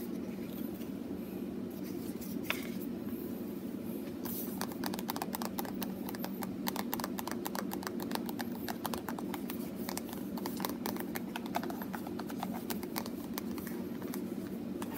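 A small white plastic lotion bottle with a purple-and-white label, held in one hand, is tapped and scratched with medium-length painted fingernails. After a few seconds of faint scratching over a steady low hum, rapid light clicking taps start and continue in quick, dense bursts until the end.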